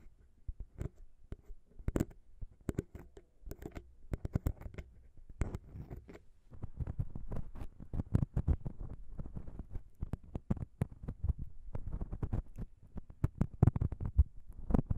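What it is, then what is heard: Metal microphone capsules tapped and scratched with nails. Long pink nails tap and scratch on the small chrome metal XY microphone capsules of a Zoom H6 recorder, which sit in hollow housings on a grey plastic XY mount. The sound is a quiet, dense run of sharp, dry clicks and taps with brief scratchy rustles, heavy in low thuds with almost no ring.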